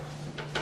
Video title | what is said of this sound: 천부동天符洞 제12강 5행 상생 2편 Daum 카페 | 이건 이제 말른 나무잖아. 이제 맑은 소리가 나잖아요.